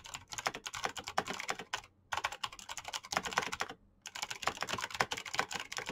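Fingertips type fast on the keycaps of a black plastic RGB mechanical keyboard, producing rapid bursts of bright, clicky keystrokes with short, dry decay. The typing runs in quick flurries separated by two brief pauses.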